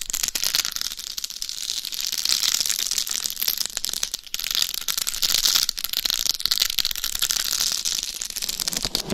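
Long nails scratch and tap across the face and top of a life-size binaural dummy head microphone covered in rhinestones over a hard shell. The result is a dense, steady stream of crisp, bright scratching and rattling clicks, with almost no low end, that briefly dips and then swells again.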